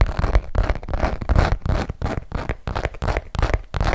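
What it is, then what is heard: Textured leather zip wallet. A long hot-pink Michael Kors zip-around wallet of textured saffiano leather, small and hollow and held in both hands, is tapped and scratched with long nails. The result is a quick, uneven run of dry, crackly scratching bursts over soft, low, hollow thumps, each sound dying away almost at once.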